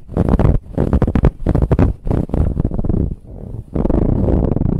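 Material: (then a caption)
Fabric. Long nails scratch and tap on a large, soft, brown ribbed fabric pillow. The result is a series of dense, muffled, low rumbling bursts of scratching with short pauses between them, and a quieter, steady rub near the middle before the scratching picks up again.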